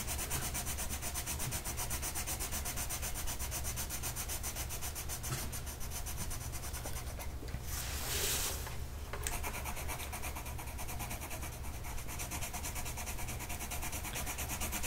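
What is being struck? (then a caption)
Colored pencil on paper. A blue colored pencil tip is rubbed across a flat printed mandala coloring sheet lying on a table and held down by one hand. A steady, rapid scratchy rubbing runs throughout over a low hum, with a brighter, hissier stretch of strokes near the middle before the even scratching resumes.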